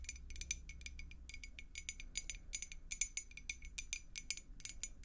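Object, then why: Glass beer mug, partly filled with water. A clear glass beer mug with a blue logo, partly filled with water, is tapped rapidly with long nails close up. The result is a quick, irregular run of short, bright clicks with faint glassy pings that die away almost at once, over a low steady hum.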